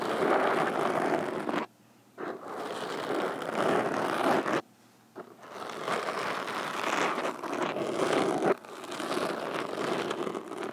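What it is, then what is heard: Foam microphone windscreen tapped with fingerpicks. Both hands wearing metal fingerpicks tap rapidly on the sides of a black foam microphone windscreen, making a dense, scratchy, crackling patter centered in the low mids. The tapping runs in three bursts separated by two brief silent pauses, with no ring after each hit.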